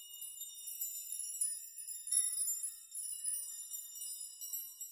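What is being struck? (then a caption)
Hanging metal nails. Fingertips brush and rock a large curtain of many long, thin metal nails hanging around the performer, so the nails clink against each other. The result is a soft, continuous, high and bright jingling shimmer with short ringing tinkles, swelling and easing as the nails are shaken.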